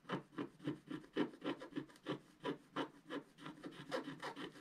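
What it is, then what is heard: Scratch art paper being scratched. A wooden stylus held in the right hand scratches lines near the bottom right of a flat black coated scratch art paper sheet. About 16 short, dry, rasping strokes come in a quick, uneven rhythm, each a soft scratchy burst with a midrange body and a faint bright edge. The strokes are quiet, with almost no ring between them.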